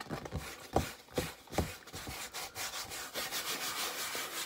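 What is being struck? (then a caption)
Stretched canvas on a wooden frame. Fingernails scratch the wooden side edge of a hollow wooden stretcher frame holding a medium stretched canvas painted with a ribcage, then move to the canvas front. Separate dry, scratchy strokes with hollow low thumps come first, then give way to a steadier, brighter rasping scrape across the canvas.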